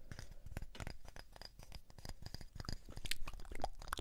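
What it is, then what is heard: Wooden disc. A light, palm-sized round wooden disc with a burned symbol, solid-looking, is tapped and scratched with fingertips and nails. Quick, irregular dry taps and crunchy scratches follow one another closely, mostly low and woody, with brief bright clicks from the nails.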